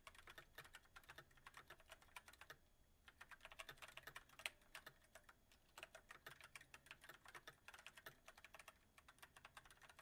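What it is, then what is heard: Mechanical keyboard with plastic keys. Fingertips of both hands type rapidly on a backlit mechanical keyboard with white plastic keycaps on a silver metal frame. The result is a dense stream of quiet, sharp, bright clicks centered around 2.5 kHz, with a brief lull near the three-second mark.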